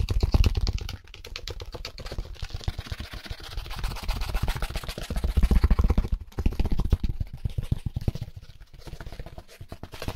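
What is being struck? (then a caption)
Styrofoam packaging insert. Gloved fingertips rapidly scratch and tap a white styrofoam packaging insert, a solid foam slab held in the hand. The result is a fast, uneven stream of dry, dull scratches and soft thumps, mostly low and muffled, with short louder bursts near the start and in the middle.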